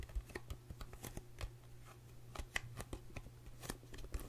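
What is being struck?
Small cardboard box.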